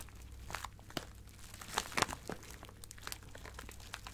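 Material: Plastic.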